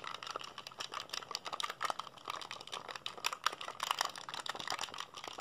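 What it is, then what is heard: Plastic handheld game console buttons. A black, hollow plastic PSP handheld console is held in both hands while fingertips rapidly mash its buttons. The result is a dense, continuous patter of sharp, bright plastic clicks with almost no low end. A faint steady band around 1.2 kHz runs beneath the clicks.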